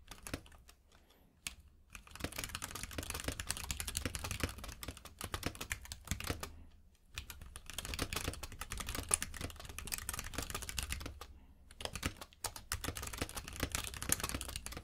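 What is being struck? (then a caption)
Mechanical keyboard with plastic keycaps. Both hands type with their fingertips on a compact mechanical keyboard with plastic keycaps. Rapid, bright clacking keystrokes over a low thump come in three steady bursts, separated by brief pauses near the 1.5-, 7- and 12-second marks. Each click is short and dry with almost no ring.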